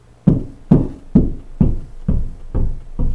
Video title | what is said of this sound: The Secret to a PERFECT Closet Shelf Install Revealed | how deep it is right here? So, that means there's no stud right there